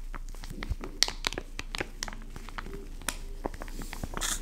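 Fingertips grip and squeeze a full, soft white and yellow plastic pouch of wet wipes lying on a wood-pattern table. The squeezing produces a steady run of crisp, bright crinkles and sharp crackles over a low background hum.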